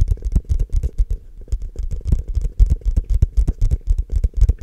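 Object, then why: Frosted plastic cup. Fingertips and short nails tap and scratch the outer walls of a tall, empty, hollow frosted translucent plastic cup held in both hands close to the mic. The result is a quick, uneven run of dull, low, hollow thumps with faint bright scratchy ticks, each dying away almost instantly.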